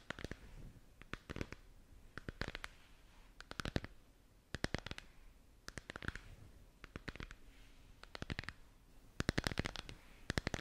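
Long nails tap and scratch the surface of a lit, hollow, translucent plastic moon lamp ball held in the hands. Quick bursts of sharp, dry clicks arrive in clusters about every second, with a soft hollow low thump beneath. A faint scratchy rustle fills the gaps between bursts.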